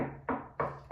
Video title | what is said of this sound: STEAM: the science behind music! | i'm knocking on this table right the molecules in this table that's underneath my knuckles have started to vibrate